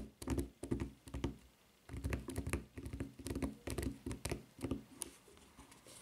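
Long nails tap quickly on the flat footbed and edge of a white rubber flip-flop with a red rubber strap, lying upright. The taps come in fast, uneven bursts of dull, low, thuddy knocks with a faint bright click at each strike. Each one dies away almost at once, with short quiet gaps between the bursts.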